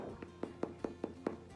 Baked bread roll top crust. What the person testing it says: that is the top crust so that came out nice and crunchy